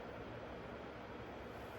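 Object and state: Nothing is struck.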